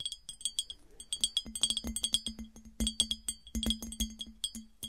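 Long nails tap quickly on the body of an empty, smooth, clear, hollow glass piggy bank, which is then lifted and handled in close-up. The result is a rapid, irregular series of bright, glassy clicks that ring around 3.3 kHz and die away almost instantly, over a faint low hum.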